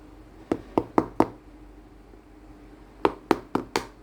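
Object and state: Durian knock test.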